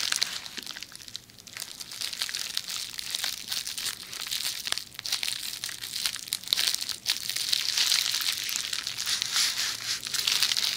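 A hollow rolled tube of red plastic bubble wrap, held beside the ear of a binaural microphone, is scratched and tapped by long nails across its bubbles. The result is a dense, bright crinkling and crackling with many sharp little ticks, steady throughout and with almost no low end.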